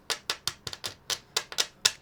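A genuine plastic SD card is tapped repeatedly for comparison, producing a quick series of sharp, bright clicks with almost no ring or low end. Each tap is short and dry, and the card sounds solid.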